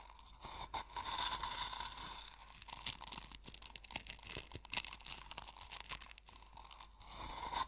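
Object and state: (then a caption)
Coarse sea salt crushed in a wooden bowl. Fingertips and nails crush and rub coarse sea salt crystals in a small wooden bowl. The result is a dense, bright, grainy crunching and scraping with many quick, closely packed crackles and no low rumble.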